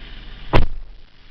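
A steel door on a Toyota Passo is shut, giving a short, deep, heavy thud against a low background hum that dies away quickly. It sounds solid and heavy rather than thin and cheap like a kei car door.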